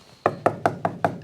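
Five dry, wood-like knocks on the old, hardened rubber tires of a 1969 Chevelle SS, each a short, sharp thud centered around 700 Hz that dies away almost instantly. The tires have gone rock-hard with age, and one is splitting in half.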